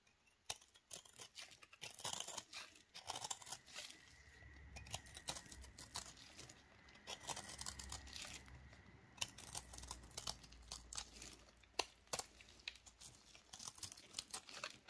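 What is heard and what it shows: A knife blade repeatedly shaves a solid, crumbly recycled dry soap ball held in black-gloved hands, with flakes falling onto a pile. Quiet, bright scraping and crisp cutting crunches follow one after another in a steady rhythm, with a faint low hum underneath.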